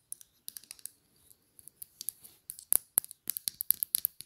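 Long dark polished nails tap quickly on a small square Chanel glass perfume bottle with a silver cap, held in the hand. The sound is a series of quiet, bright, sharp clicks in uneven bursts, each dying away almost instantly, with short pauses between them.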